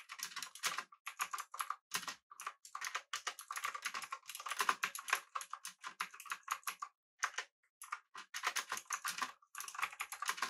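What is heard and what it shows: Both hands type with their fingertips on a full-size, backlit, typewriter-style mechanical keyboard with blue switches, an aluminum body and round plastic keycaps. Rapid bursts of sharp, bright, clicky keystrokes with almost no low end rattle along in quick runs, broken by brief pauses. Each click cuts off dry and short.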